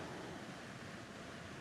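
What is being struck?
Nothing is struck.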